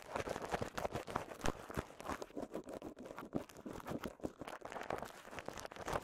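A small wad of clear polyethylene bubble wrap with visible air bubbles is popped and crinkled with fingertips. Quiet, rapid, irregular crackles and sharp little snaps overlap throughout, with a mid-range body and brief bright edges.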